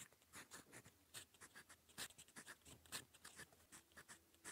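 A gold metal fountain pen nib scratches across a cream lined notebook page, writing in purple ink. Quiet, bright scratchy strokes come in quick bursts with short gaps between them, and a faint low hum sits underneath.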